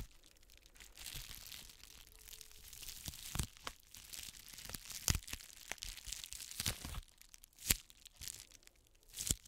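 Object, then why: Plastic bubble-wrap mailer. An iridescent plastic bubble-wrap mailer, lying flat and holding a boxed palette, is crinkled and scratched with long manicured nails. Bright, papery crinkling and scratching swell and fade across the clip, broken by several sharp crackling peaks.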